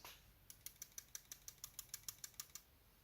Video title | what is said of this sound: The Best Blade On an OTF EVER?? - Benchmade Shootout Review | this knife has a rattling sound